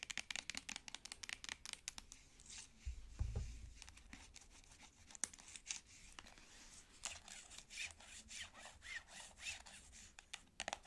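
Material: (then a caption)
Plastic. Long nails scratch and tap a plastic cosmetic squeeze tube, making rapid, dry, bright clicks with no ring, mixed with scratchy rubbing. A soft low thump sounds near the three-second mark, then quicker runs of ticking and scraping continue to the end.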